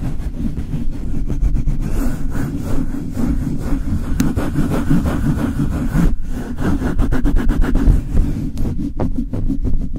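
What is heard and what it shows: Cupped hands and fingertips with long nails rub fast over the bare, hollow metal mesh grille of a Blue Yeti microphone. The result is a dense, muffled rumbling friction, heavy in the low end, with rapid rhythmic scratching strokes and faint bright flutters throughout.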